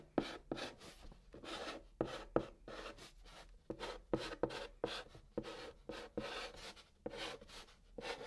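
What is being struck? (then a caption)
Chalk on cardboard box. A white stick of chalk held in the fingertips writes Korean letters on the hollow top of a large, flat brown cardboard box. Short, dry scratching strokes come in quick bursts, each with a rough, papery rasp and a faint hollow tone, separated by brief pauses.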